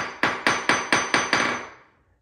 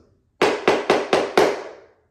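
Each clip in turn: First: solid, well-bonded ceramic floor tile. Second: hollow-sounding ceramic floor tile.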